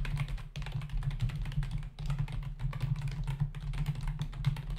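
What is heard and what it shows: Both hands tap the plastic keys of a black plastic membrane computer keyboard with a hollow body resting on a desk, typing with their fingertips. A steady, rapid stream of short, dull clicks and soft thuds comes through, with a low-pitched hollow body tone under the faint brighter key clatter. Two brief pauses break the run of keystrokes.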